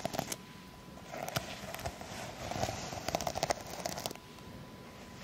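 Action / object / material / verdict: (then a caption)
scrape / plastic sequin fabric pouch scratched with long acrylic nails / plastic sequins / none. Long acrylic fake nails scratch and brush across a small, soft, flexible pouch covered in reversible plastic sequins on fabric. The result is a run of crisp, bright clicks and crackly scrapes over a steady low rustle, with sharp ticks that stop almost instantly.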